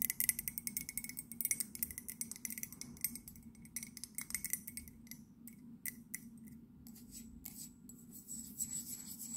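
Long nails tap rapidly on the side and glazed base of an empty white ceramic mug. The result is a quick, uneven run of bright, sharp clicks with almost no ring, over a faint low hum; the taps are dense early on, then thin out and grow quieter before picking up again near the end.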